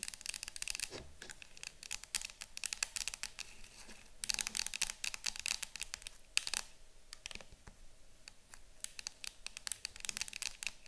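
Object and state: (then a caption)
Cardboard canister. Long nails on both hands tap and scratch the front and sides of a yellow cylindrical citronella canister that looks like cardboard, standing on a table. The sound is a dense, steady run of quick, bright clicks and dry scratching with almost no low end and no ring after each tap, growing busier in a few short bursts.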